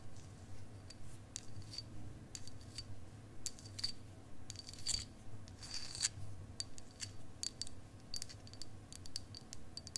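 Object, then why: Quartz crystal point tapped with fingernails. A long, solid, faceted clear quartz crystal point is held horizontally near the mic and tapped and scratched with long acrylic nails. About thirty quick, sharp clicks with a bright, high ring fall at an uneven pace of roughly two per second, mixed with short scratchy rubs over a low, steady rumble.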